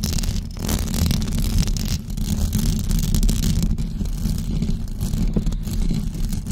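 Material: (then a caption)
Knit fabric. Long blue acrylic nails on both hands scratch a white knitted fabric cover stretched over a rounded microphone head. The result is a steady, dense, rumbling scratch that sits mostly in the deep low end, with only faint brighter fabric texture above it. It stays fairly even in loudness for the whole clip, with a couple of brief dips.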